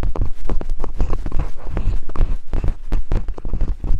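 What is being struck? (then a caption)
Silicone binaural microphone ears. Thin wooden picks held by long-nailed fingers tap rapidly on silicone binaural microphone ears. The result is a fast, uneven series of dull, deep thumps with almost no high end, each dying away almost instantly.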